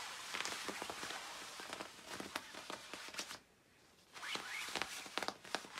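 Long acrylic nails scratch and rub the padded back of a glossy black quilted nylon down jacket worn by a person lying face down on a bed. The result is a bright, crackly rustle with sharp scratchy bursts and almost no low end. It drops to near silence for about half a second before the scratching resumes.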